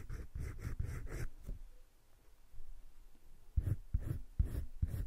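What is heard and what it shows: A teal wooden colored pencil, held in the fingertips, scratches and shades across a flat sheet of a spiral-bound drawing paper sketchbook lying on a table. Quick, rhythmic bursts of dry, scratchy strokes fill the first second and a half. After a quiet pause, the strokes return in firmer, separated bursts.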